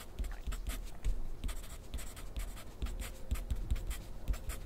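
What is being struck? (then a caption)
Wooden pencil on a paper sheet on a clipboard. A wooden pencil scratches across a thin sheet of grid paper on a clipboard in continuous writing strokes. The quiet, papery scratching comes in short bright bursts over soft low taps, with no pauses between strokes.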